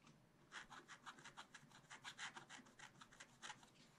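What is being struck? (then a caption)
Black-coated scratch-art card scratched with a wooden stylus. A wooden stylus scratches a thin black-coated scratch-art card on a spiral-bound page lying flat, in short repeated strokes along the bamboo lines. Seventeen quiet, dry, bright scratching strokes follow in quick succession, with almost no low end and no ring after each stroke.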